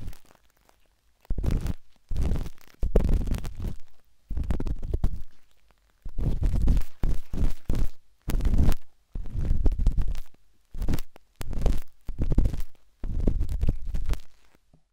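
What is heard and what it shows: A metal-tipped dot stick with a wooden handle scratches inside the soft, hollow canal of a pinkish-white silicone binaural microphone ear. Dense bursts of deep, muffled scraping and rumbling come in short clusters separated by brief silences, with almost all the energy in the low range.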